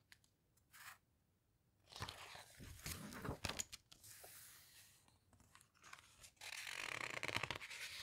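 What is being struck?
Hardcover book with glossy paper pages.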